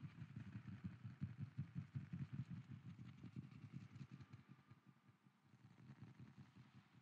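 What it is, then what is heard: Wooden lid. A wooden lid is tapped rapidly as an ASMR trigger, with an echo effect added. The taps run as a steady stream of dull, low thuds with a clattering texture, louder in the first half and fading softer toward the end before picking up slightly.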